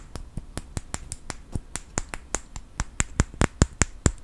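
A small wooden clothespin held in the fingers is tapped and scratched by fingernails, making sharp snapping clicks. About 19 short, dry clicks come at an uneven pace over a faint scratchy rustle. Each click has a bright top and a light low knock, dying away almost at once.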